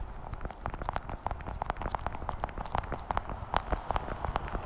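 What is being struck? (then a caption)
Plastic pill organizer tapped with fingernails. Long painted nails tap rapidly across the lids of a small, hollow, translucent blue plastic weekly pill case held in front of the microphone. The result is a quick, uneven stream of crisp, hollow plastic clicks with a low rumble underneath.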